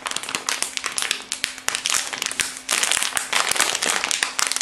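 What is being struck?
Soft plastic wrapper package.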